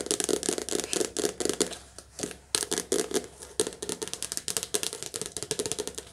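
Long nails tap fast on the glossy card cover of a softcover paperback book held in the hands. About 33 crisp, bright clicks with a papery mid-range body come in quick bursts, with a brief pause partway through. Each tap dies away almost instantly.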